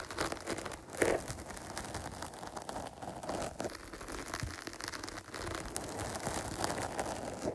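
Long pointed nails scratch quickly and repeatedly across the top and side of a dark foam microphone cover. The result is a dense, continuous crinkling and rustling texture with a soft midrange body and bright, airy edges. A louder burst of scratching comes near the one-second mark.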